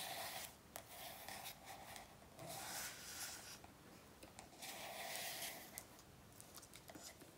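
Bursts of bright, airy scratching alternate with quieter stretches and a few sharp, dry ticks; nothing rings on. It is fingernails tapping and scraping the smooth cover of a paperback workbook lying on a table, in a small quiet room.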